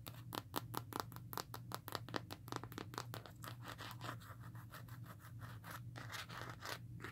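Long nails tap and scratch the textured back and edges of a smartphone held in the hands inside a black rugged plastic and rubber case. A rapid run of dry, bright clicks and short scratchy scrapes sits over a steady low hum, each tap dying away almost at once.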